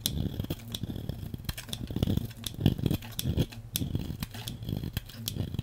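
A metal blade cuts and scrapes slices off a solid, hand-sized beige bar of soap held in long-nailed fingers, one bar throughout. A steady run of short, crisp cuts and scrapes comes through, with dull, low body and bright clicking edges on each stroke.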